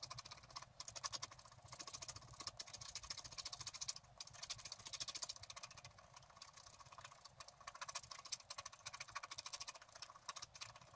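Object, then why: Scratch art paper sheet scratched with a wooden stylus. A wooden stylus scratches the fox at the lower right of a thin, flat sheet of scratch art paper. The result is quiet, dense, bright scraping made of rapid short strokes that come in bursts with brief pauses between them.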